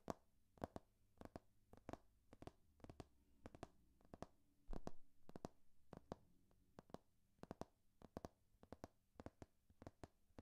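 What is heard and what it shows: A thick hardcover textbook with a glossy laminated cover, a large solid block of paper, is held in one hand while the fingertips and painted nails of the other hand tap and scratch the cover. Quick, dry clicking taps with almost no ring come in rapid pairs and small clusters, with a short scratchy rustle partway through. The sound stays quiet and close throughout.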